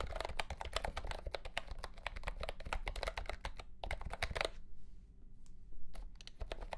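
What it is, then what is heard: Plastic mechanical keyboard with round keycaps. A mint-green retro plastic mechanical keyboard with round plastic keycaps in a hollow plastic case is typed on with the fingertips of both hands. Fast, sharp, clacky keystrokes run over a steady low rumble, then stop briefly before a few last key presses.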